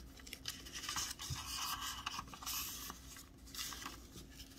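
Fingertips press and slide along the folds of a large, thin square of Christmas wrapping paper, white with teal snowflakes on the front and a brown grid-lined kraft back, lying flat on a white table. The rubbing and creasing produce crisp, bright, dry scratching and crinkling rustles in quick irregular bursts that stop without ringing, over a faint low steady hum.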